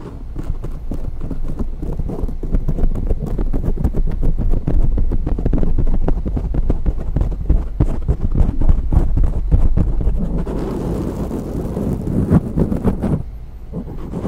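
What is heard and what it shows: Fingertips and long nails tap and scratch a dark grey foam windscreen on a microphone from both sides. The result is a dense, fast run of deep, muffled thumps with short rustling scrapes, shifting near the end into a steadier scratchy rustle before dropping quieter.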